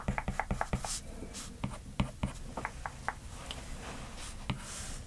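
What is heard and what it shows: A stylus's plastic tip taps and scratches across the glass screen of a large iPad lying flat, drawing short repeated strokes and hatching. The result is a quick run of dry, clicky ticks with brief bright scratchy streaks between them, each stroke dying away almost at once over a low, soft background.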